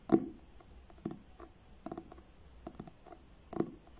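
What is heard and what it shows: Fingertips and short nails slowly tap the front of a solid, medium paperback book with a blue card cover, held upright in both hands. The spaced, soft taps sound dull and papery, each with a low-mid thump and a bright, dry click that dies away almost instantly.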